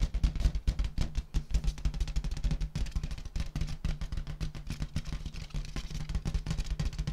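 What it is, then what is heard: Metallic latex balloon. Fingertips and long nails tap rapidly on a large, hollow, air-filled rose-gold metallic latex balloon. The result is a dense, drum-roll-like stream of soft, deep thuds centered low around 60 Hz, each dying away almost instantly. The taps carry little high-end brightness.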